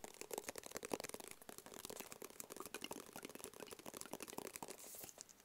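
A small, flat, black, rigid cardboard box, hollow and closed, is held in both hands and tapped quickly with the fingertips. The rapid, dry, hollow taps carry a faint tone near 420 Hz and a bright, crinkly edge, with no ring after each tap. The tapping briefly softens into a light, airy rustle near the end.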